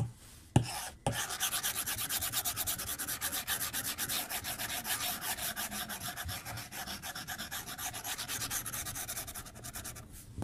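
The plastic tip of a white stylus rubs the glass screen of a tablet lying flat on a desk in short, quick strokes. After a sharp tap and a brief pause, a steady run of rapid scratchy, bright rasping strokes continues to the end.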